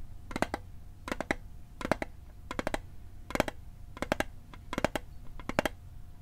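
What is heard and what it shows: Fingertips and nails tap fast on the lid and sides of a small, hollow, rectangular metal mint tin (Altoids type, blue and white label) held in one hand near the microphone. Eight quick bursts of three or four bright, clicky taps are heard, each dying away almost instantly over a faint steady tone near 600 Hz.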